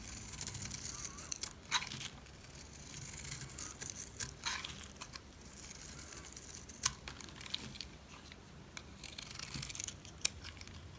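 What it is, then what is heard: Dry soap bar being cut and scraped. A utility knife cuts and scrapes chunks off a solid black rectangular bar of dry soap held in the hand. The sound is a steady, bright, crisp scraping and crumbly tearing, broken by several sharp, short clicks and crunches as pieces snap away.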